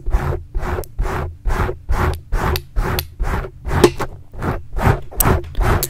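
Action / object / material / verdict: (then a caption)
scrape / foam microphone windscreen scratched with metal fingertip claws / foam / none. Metal claw rings worn on the fingertips of both hands aggressively scratch a large, soft, porous black foam windscreen over a microphone. Twelve separate rough, rasping strokes repeat at a brisk, slightly uneven pace, each a full-band scratchy burst heavy in low rumble with a faint high edge.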